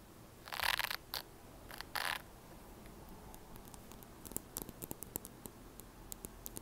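Long nails rapidly scratch and flick the white plastic bristles of a red plastic hairbrush held upright. It starts with a few short bursts of bright, dry scratching, then shifts to a rapid series of sharp, crisp clicks and ticks as the bristles snap back. The sound is quiet and close, with no low-end body and no ringing after each flick.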